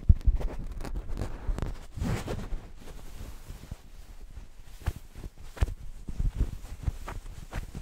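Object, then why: Stuffed fabric cushion. A soft, stuffed green fabric cushion is held close to the microphone and scratched and squeezed with fingers. Low, muffled rustling and scratching rise and fade, broken by short, sharp crackles, with nearly all the energy in the deep low range.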